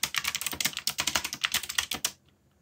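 Fingertips type quickly on the plastic keycaps of a black backlit mechanical keyboard. The result is a fast run of bright, crisp clicks that stops abruptly just after two seconds, leaving near silence.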